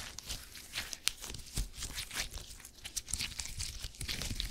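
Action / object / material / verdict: scrape / small polymer gel grid cushion / polymer gel / none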